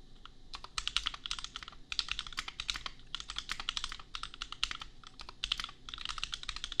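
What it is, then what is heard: Mechanical keyboard with plastic keycaps. Fast typing with the fingertips of both hands on a compact $250 custom mechanical keyboard with Gateron Milky Yellow switches and red/pink plastic keycaps. It produces a dense, steady stream of short, crisp, bright clacks with very little ring, coming in quick bursts separated by brief pauses.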